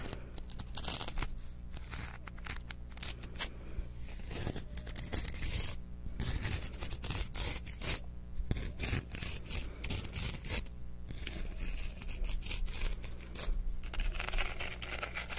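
Fingertips and nails rub and scratch the rough surface of a hand-sized, solid, translucent white clear quartz crystal chunk held in both hands. Dense, crackly scraping and brushing textures come through, bright and gritty, over a steady low hum.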